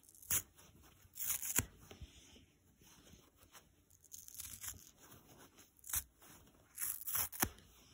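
A dry, soft yellow polyurethane foam sponge is stretched and ripped apart by hand. Short, crisp, crackly tearing bursts alternate with quieter scratchy stretches, all bright and high-pitched with little low end.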